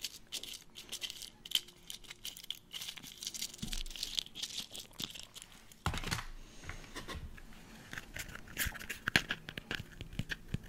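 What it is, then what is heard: Broken empty eggshell. A hand holds an empty, hollow, broken brown hen's eggshell while the fingernails of the other hand pick at, scratch and crack its edges. The result is a dense stream of quick, bright crackles and crisp crunching snaps, with a few louder cracks and some low thumps mixed in.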